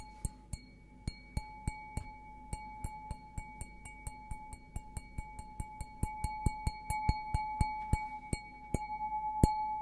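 An empty stemmed glass beer goblet, held sideways, is tapped on the bowl with fingertips and nails in a quick, steady series. Each tap gives a sharp, bright clink over a clear glassy ring that sustains between taps and grows stronger toward the end, above a faint low hum.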